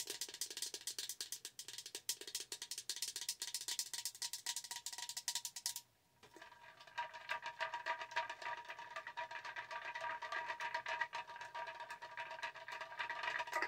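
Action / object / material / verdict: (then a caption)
tap / hollow plastic tumbler / plastic / none. Long pointed nails rapidly tap and scratch a tall, hollow blue-and-white gradient plastic tumbler with a straw lid, held upright. Dense, bright clicking runs for about six seconds and then stops briefly. A softer, scratchier stretch of tapping follows, with a faint steady ring under the clicks.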